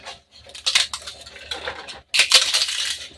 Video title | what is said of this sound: एक किलो उडिद मुंग डाळीचे पापड, घरगुती मसाला घालून संपूर्ण रेसिपी, 1 kg Udid Mung Papad | छान असा कुरकुरीत आवाज येतोय एकच नंबर पापड तयार झालेले